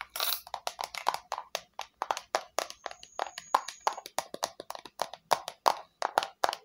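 Long nails tap on the flat face of a small, hollow red plastic square box with rounded corners. About 39 quick, light, dry taps are heard, each a short hollow click that dies away almost at once, with a faint high tone in the middle of the run.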